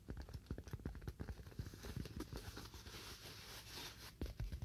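A solid, roughly hand-sized white styrofoam slab is held and tapped quickly with fingernails. The result is a rapid run of dull, low, clicky taps with almost no ring, and a brief stretch of softer, scratchy hiss midway before sharper taps return at the end.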